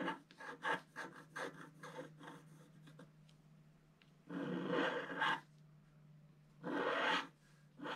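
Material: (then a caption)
Coated paper. A wooden stylus scratches the lower part of a figure on a flat scratch art paper sheet with a black coating. A quick series of short, raspy strokes is followed by two longer, steady scratching passages, all over a faint constant low hum.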